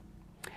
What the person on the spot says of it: if i tap on it you can hear there's a resonance of the tube there's a frequency